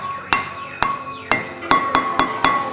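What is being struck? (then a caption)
Stone slab struck with a hammer. A special stone at a UFO center is struck seven times, each hit giving a sharp attack and a high, bell-like ringing tone around 1.1 kHz that sustains between strikes, like a blacksmith at work. The stone is called a "pinkara stone."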